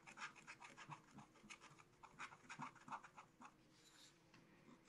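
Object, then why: Coated scratch-art paper scratched with a wooden stylus. A pointed wooden stylus held in the fingers scratches lines into the black coating of a spiral-bound scratch-art book page over colored card, lying flat on a table. Quiet, dry rasping strokes come in a quick, uneven series, each a short scratchy burst with a bright edge and little low end.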